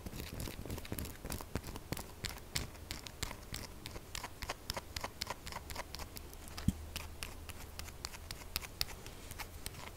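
Long fingernails tap and scratch rapidly at the end of a pink, textured, solid bar of soap held on its side. The result is a dense stream of sharp, bright clicks and scratchy ticks, with a few louder taps standing out over a steady low hum.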